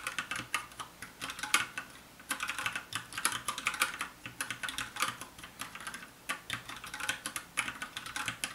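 Fast fingertip typing with both hands on a compact 60% black plastic mechanical keyboard with a hollow case. It produces rapid bursts of sharp, bright clacks with almost no low end, each dying away almost at once. The rhythm has brief pauses near two and six seconds.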